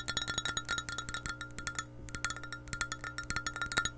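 Long painted nails rapidly tap and scratch an empty, hollow clear glass measuring cup with a handle and red markings, held in hand beside the mic. The result is a quick run of bright, clicky glass taps, each with a brief ring around 1.4 kHz, with a short lull partway through.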